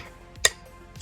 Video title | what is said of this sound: Ambutech Rolling / Non-Rolling Mobility Cane Tips for Long White Canes for Blind | i'm tapping it left and right and you can hear how loud it is